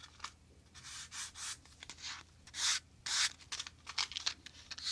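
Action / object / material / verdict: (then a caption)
scrape / cardboard matchbox with wooden matches / cardboard / none. A small, hollow, printed cardboard matchbox full of red-tipped wooden matches is held in both hands, rubbed with the fingertips, and has its inner tray slid open. Short, bright, dry rubbing and sanding strokes come in uneven bursts over a faint low hum.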